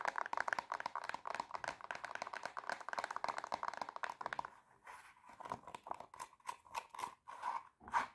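Long painted nails scratch and tap a silver glitter-covered pump with a black plastic sole and heel, held empty and hollow in the hand. For about four and a half seconds the nails scrape fast and densely, making a dry, crinkly scratching with a bright edge. It then slows into separate, crisp taps and short scrapes with brief silences between them.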